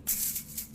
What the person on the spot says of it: i can also flick it with my finger like this but again it's not actually that exciting to listen to